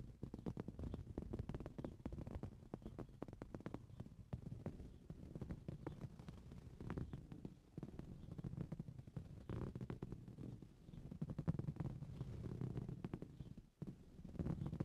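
Short blue-painted fingernails on both hands scratch the coarse woven surface of a soft, filled green fabric cushion. It makes a dense, continuous run of quick, dull scratching strokes, heavy in low, muffled rumble with almost no bright edge. There is a brief near-silent pause just before the end.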